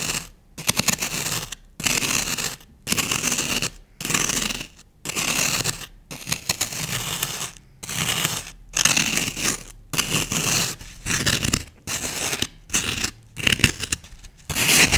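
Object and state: Floral foam block being scratched.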